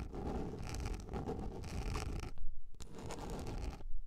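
Long nails scratch and scrape a large round yellow plastic lid, making a dense, rough scratching with a deep, low rumble underneath. The scraping runs steadily for about two seconds, breaks into a few louder strokes, and then resumes before stopping.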